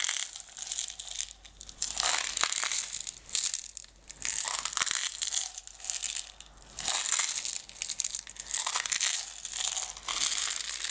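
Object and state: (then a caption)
Plastic jar of decorative stones. A closed clear plastic jar full of green and blue decorative stones is shaken and tilted, with long red nails on its sides. The stones shift in repeated bright, crunchy rattling bursts with short pauses between them, and the sound is almost entirely high with no low end.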